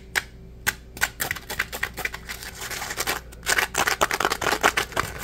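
A dry, palm-sized yellow Scrub Daddy polymer foam sponge, porous and solid, is held in both hands and scratched and squeezed with fingertips and nails. It gives irregular, crisp, bright scratching clicks and rasps that die away almost instantly, over a faint steady low hum. A softer, busier scraping stretch in the middle gives way to denser, louder scratches toward the end.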